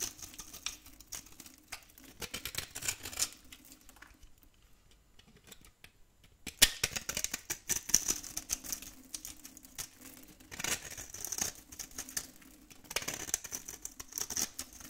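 A metal blade scrapes scored cubes off the edge of a very old, solid, dry brown soap bar held in the hand. Bursts of bright, crisp scratching and crumbly ticking come and go, with a quiet stretch in the middle broken by a sharp crack as a piece breaks away. The scraping then resumes in dry, crackling waves.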